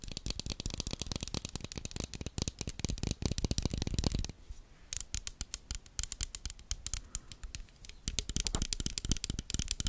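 A small black plastic toothed hair clip, held in one hand, has its teeth and surface scratched and tapped with long red nails close to the microphone. Rapid, dense dry clicks and raspy scratches run throughout, with a brief quieter stretch around the middle. Each tick stops almost at once.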